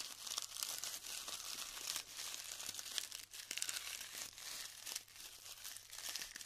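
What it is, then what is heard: Glued styrofoam bead clusters being crumbled. Clumps of glued styrofoam bead clusters are lifted and crumbled between the fingers, giving a steady, quiet stream of dry crinkles, crackles and tiny snaps. The sound is bright and hissy, with almost nothing in the low end, and rises and falls in short bursts as the clumps break apart.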